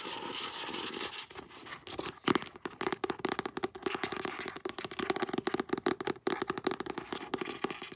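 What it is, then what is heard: Paperback book. Long nails scratch the spine of a paperback novel, then tap and scratch its glossy front cover. A dense run of quick, dry taps and crackly scratches follows a softer opening scrape, with little low end.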